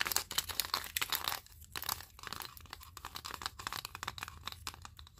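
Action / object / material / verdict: tap / wooden spring clothespins / wood / none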